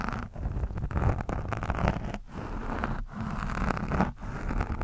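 The metal tip of a screwdriver scratches across an orange foam windscreen on a microphone. It makes a continuous, low, muffled rustling scrape with almost no high end, broken by a few brief pauses between strokes.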